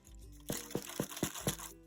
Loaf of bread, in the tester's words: turn it upside down once it's cooled and knock to see if it sounds hollow